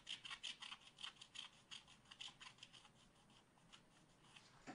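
A wooden stylus scratches a black-coated scratch art card in a spiral pad with fast back-and-forth strokes. Each stroke is a short, bright, dry rasp, loudest in the first half and then fading into a softer, steady scratching before one sharper scrape at the end.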